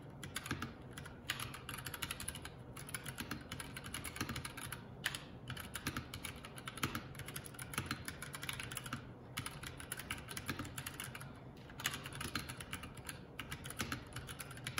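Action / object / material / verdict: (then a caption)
tap / mechanical keyboard with plastic keycaps / plastic / none. Fingertips of both hands type continuously on a Keycool K84, a 75% mechanical keyboard with plastic keycaps. Quick, close, clacky keystrokes come in dense bursts with short pauses between them. Each stroke is a bright, sharp click over a low steady body.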